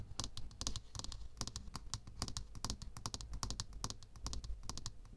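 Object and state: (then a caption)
Aluminium shaving foam can. Long fingernails tap and scratch along the side of a tall aluminium aerosol can of shaving foam, a hollow can with pressurized contents held in the hand. About thirty quick, dry, bright clicks come in uneven bursts, each dying away almost at once, over a steady low hum.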